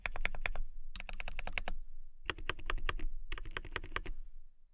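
Long nails type on a transparent acrylic mechanical keyboard with a clear acrylic case, clear plastic keycaps and RGB lights. Quick runs of short, bright, clicky keystrokes come in four bursts separated by brief pauses, each tap sharp and dying away almost instantly.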